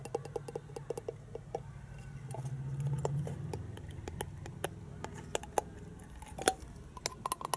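Long painted fingernails tap and scratch a hand-sized hollow plastic penguin egg toy that lights up, with a translucent patterned section. Many sharp, dry clicks ring only briefly over a soft scratching rustle and a low hum that swells in the middle of the clip.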